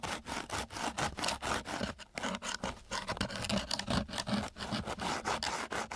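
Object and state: Coarse sandpaper scraped with a wooden stick.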